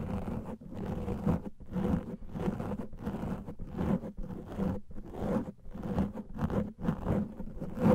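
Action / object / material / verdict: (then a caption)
scrape / foam microphone windscreen / foam / none. Fingernails of both hands scratch the top of a large black foam microphone windscreen. The result is a continuous run of dense, muffled, low scratching and rustling in uneven surges with brief dips between strokes, and a steady low hum sits underneath.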